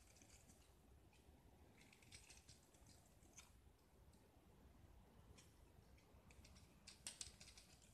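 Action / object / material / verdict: scrape / gypsum block scraped with a steel blade / gypsum / none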